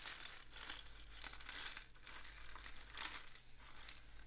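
A long, hollow, painted cardboard rainstick is tilted diagonally with the fingertips, sending its filling cascading down the tube. The sound is a soft, bright, crinkly rattle that swells and fades in repeated waves over a steady low hum.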